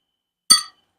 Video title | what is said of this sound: गाजर गुळाची बर्फी - गाजर गुळाच्या वड्या रेसिपी - पौष्टिक -स्वादिष्ट - आरोग्यदायी - | गुळाचा खणखण आवाज येतो म्हणजे आपला पाक पक्का झाला